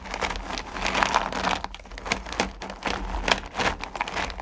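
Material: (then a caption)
Candy. Fingertips with long painted nails dig into and stir a pile of small solid mellowcreme candy pumpkins in a purple plastic bucket. The candies make a continuous rustling, crinkly clatter of dense, short clacks and rubs with bright highlights throughout, and a steady low hum sits underneath.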